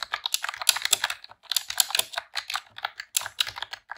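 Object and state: Plastic keyboard typing.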